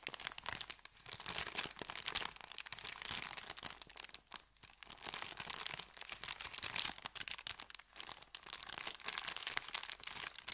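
Fingertips rub and crinkle an empty, folded, thin kraft paper bakery bag. A steady, dense run of dry, bright crackles and rustles fills the clip, with brief quieter gaps around 4.5 and 8 seconds and almost nothing in the low end.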